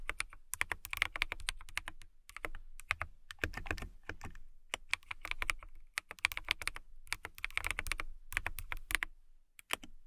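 Long nails type and tap on a transparent acrylic mechanical keyboard with clear keycaps. Rapid bursts of bright, crisp clicks with a light low thud come in quick runs separated by brief pauses. Each keystroke stops dead with no ring.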